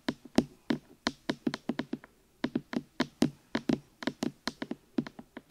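Fingertips knock and tap on the two hollow rubber or silicone ear pieces of a black binaural microphone. About 25 short, muffled, hollow knocks land in an uneven rhythm, with a brief pause near the middle. Each knock has a low-mid body around 240 Hz and a quick bright click, then dies away almost at once.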